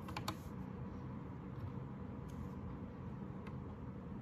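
Both hands type with their fingertips on a white 60% Anne Pro 2 mechanical keyboard with plastic keycaps. A few faint, bright key clicks stand out over a steady, quiet low rumble, and each click dies away quickly.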